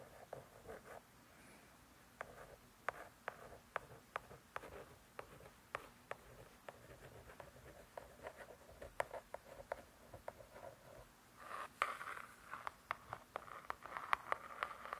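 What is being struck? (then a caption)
Laminated hardcover cookbook cover. A long nail scratches and taps on the laminated back cover of a spiral-bound hardcover cookbook. Quiet, dry, sharp taps that die out instantly are mixed with soft scratching swishes. A denser, brighter burst of scratching comes near the end.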